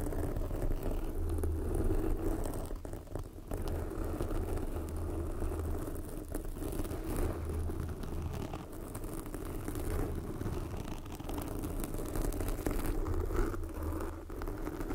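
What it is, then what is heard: Foam microphone windscreen being scratched. Long glossy black fingernails of both hands scratch a soft, porous red foam windscreen covering a microphone. The result is a steady, dense, low rumbling scratch with a muffled rustle and little high-end brightness. It swells and dips slightly over the whole clip without clear separate strokes.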